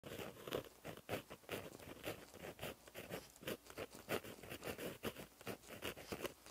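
A plastic-barrel gel pen with a metal tip, held in the fingers, writes across a flat black lined paper notebook page lying as a solid sheet on a surface. The tip scratches along the paper in quick, soft strokes, each one a brief dry rasp centered in the low mids with a faint bright hiss on top. The strokes come in a steady, uneven rhythm of short bursts throughout.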